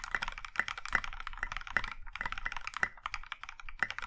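Both hands type with their fingertips on a compact Iron 165 mechanical keyboard with a maroon metal case and dark grey and pink plastic keycaps. A steady run of quick, crisp clacks has bright tops, a light low thock underneath and very little ring after each keystroke.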